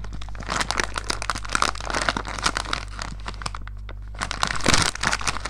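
A medium-size blue plastic-film Milky Way Minis bag, apparently full of wrapped mini chocolate bars, is held in both hands and crumpled, squeezed and crinkled with the fingers. Dense, bright crackling and crinkling runs throughout over a steady low hum, easing off briefly before a louder burst of crunching near the end.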